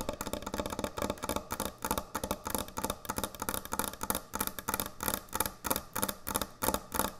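Long nail tips tap fast on a large, thick, solid wooden end-grain butcher block cutting board. The result is rapid, uneven bursts of short, dry clicks with a woody knock and almost no ring.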